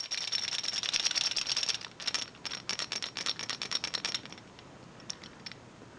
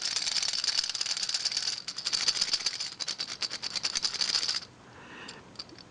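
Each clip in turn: First: wooden toy train bogies rattling loosely. Second: toy train engine with loose plastic bogies rattling against wood.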